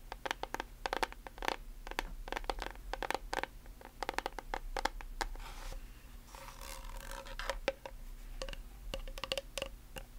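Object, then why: Plastic bottle partly filled with liquid. Long nails tap and scratch on a translucent white plastic nail polish remover bottle with a blue cap and label, partly filled with liquid. Rapid, sharp plastic clicks come in quick irregular bursts, with a hollow ring near the middle pitch. A longer stretch of hissy scratching in the middle sits over a steady low hum.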